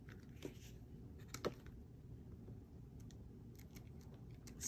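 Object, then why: Glossy paper booklet with cardstock cover. Long nails tap on the cardstock cover of a thin, solid, glossy paper Player's Guide booklet held upright in both hands. Short, sharp clicking taps stand out over a steady low background hum.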